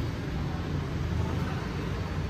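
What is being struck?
Nothing is struck.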